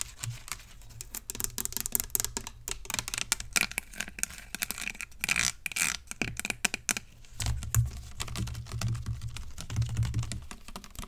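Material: Plastic.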